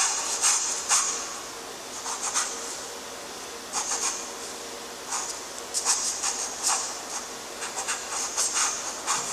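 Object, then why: Graphite stick on drawing paper sheet. A graphite stick held in a gloved hand scratches the strokes of a new letter after "j" onto a flat, lined, gray-toned drawing paper sheet. The strokes come as irregular bursts of dry, bright, papery scratching with almost no low end, separated by a faint hiss.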